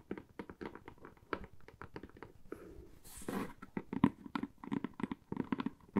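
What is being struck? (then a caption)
Corrugated cardboard box. Long manicured fingernails tap and scratch a medium, empty-looking, hollow corrugated cardboard box with a cut-out handle slot. A quick, uneven run of short, dull, hollow taps dies away almost instantly. Around the middle, a brief, brighter scratching passage interrupts the tapping before it resumes.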